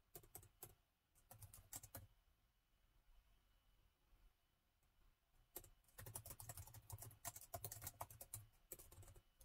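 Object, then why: Plastic laptop keyboard. Rapid two-handed fingertip typing on the plastic chiclet keys of a gold laptop keyboard. Bursts of dry, quick clicks with a soft low thump under bright key snaps, broken by a quiet pause in the middle before the typing picks up again.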